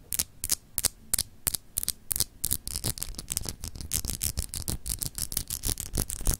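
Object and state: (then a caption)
Solid glass globe paperweight. Long pink acrylic nails scratch a palm-sized solid clear crystal glass globe paperweight with etched, textured continents, held in one hand. Quick, bright scratching strokes repeat at an uneven pace over a low steady hum. The strokes start distinct and grow denser and more continuous toward the end.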